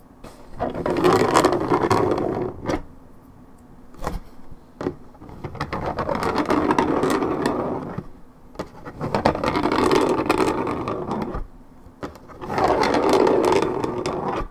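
Long red nails scratch the top of a hollow, coated-paperboard Minute Maid orange juice carton. The sound is a dry, raspy scraping in four long passages, separated by quieter gaps with a few sharp taps.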